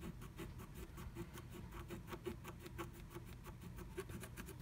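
A wooden stylus slowly scratches flat black scratch art paper inside a diamond-shaped stencil cut-out, revealing pink colour beneath. Quiet, steady, rhythmic scratching strokes carry a soft rasp with a faint hum near 344 Hz over a low rumble. The strokes flow continuously without distinct breaks.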